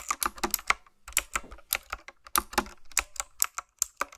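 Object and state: Mechanical keyboard with round plastic keycaps.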